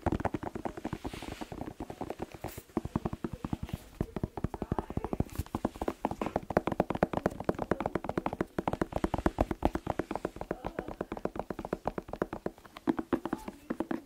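Fast fingertip tapping on a bell pepper (paprika) makes a steady stream of short, dry, hollow taps with a mid-range pitch around 600 Hz. The taps fade almost instantly, with no ringing, and continue without pause for the whole clip.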